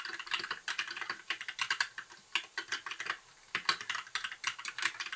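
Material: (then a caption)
Plastic. Fingertips of both hands type continuously on a compact white mechanical keyboard with backlit plastic keycaps. The result is a rapid, uneven stream of bright, dry clacks with almost no low end, broken by a brief pause just past the three-second mark before the typing resumes.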